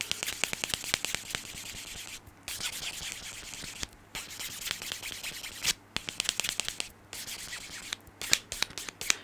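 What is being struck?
Foam nail buffer block with abrasive sides.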